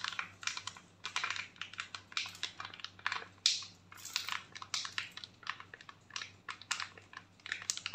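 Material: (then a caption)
Foil. A flat foil and plastic sachet holding a face sheet mask is crinkled, scratched and rubbed with long nails and fingertips. It makes rapid, bright crinkling and tapping bursts, much like typing, over a faint steady low hum.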